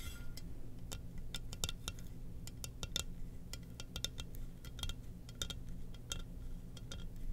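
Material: Ceramic.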